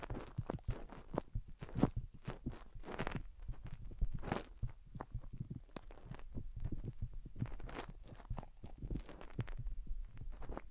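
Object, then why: Silicone rubber microphone ears. Long painted fingernails dig and scratch inside both openings of white silicone rubber microphone ears. The result is a dense run of close, low, muffled rubbing thumps, broken by brief brighter scratchy swishes.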